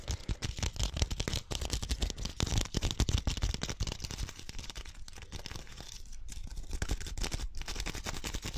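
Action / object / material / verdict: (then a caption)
scrape / woven rattan ball / rattan / none. A small, hollow, woven pink rattan (wicker) ball is held between the fingers and quickly scratched and tapped with fingernails. It makes a dense, fast run of dry, crackly clicks and scrapes with a low, thumpy body and a bright, brittle edge. Each click dies away almost at once.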